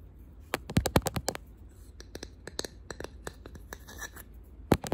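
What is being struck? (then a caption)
Wooden box. Fingernails tap on a wooden box in a quick, irregular run of sharp, dry clicks. A loud cluster comes early and another near the end, with softer taps between, over a low steady background hum. Each tap dies away almost instantly.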